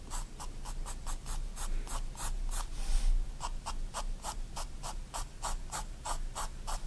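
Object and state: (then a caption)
Pencil drawing on sketchbook paper. A 4B graphite pencil held in the fingers draws long curved strokes across a spiral-bound white paper sketchbook lying flat on a wooden desk. Each stroke makes a short, dry, bright scratch, repeating at a steady, uneven rhythm over a constant low background hum.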